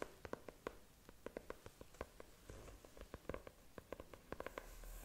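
Long nails tap and scratch across the cover of a closed, book-sized, solid brown faux leather notebook, using both hands. About 21 short, dull, low-mid taps sound in an irregular pattern over a soft, continuous scratching hiss, with each tap dying away almost instantly.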